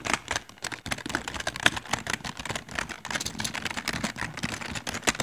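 Fingertips of both hands continuously press and tap the keys of a full-size plastic LED computer keyboard with rainbow backlit keys and a hollow plastic body. The result is a dense stream of short, bright plastic clicks with very brief ring, with occasional louder, sharper taps standing out.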